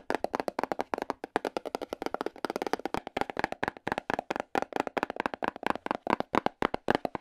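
A small, hollow, black printed cardboard box for an LED light is held in the hand and tapped rapidly with AA battery tips worn on the fingers. About fifty short, dry, hollow taps come in quick, uneven bursts, with a papery midrange body and almost no low end or ring.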